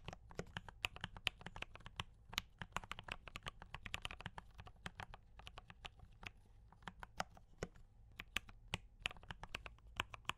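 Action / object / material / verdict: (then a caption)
tap / mechanical keyboard with plastic keycaps / plastic / none. Fingertips of both hands type rapidly on a D84 mechanical keyboard with brown switches and cream and red plastic keycaps. The result is a dense stream of short, sharp, bright clicks and clacks that stop almost instantly, over a faint low hum.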